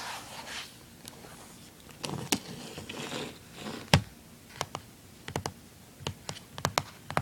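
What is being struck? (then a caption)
Plastic handheld game console. Fingers rub and scratch the lid of a small, hollow, closed blue plastic handheld game console, making soft, dry scraping sounds. The console is then turned over to its back, which has screws and a label. Sharp, bright clicks and taps follow in the second half, with quiet pauses between them.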